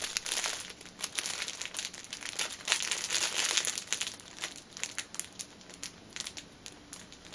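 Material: Plastic film.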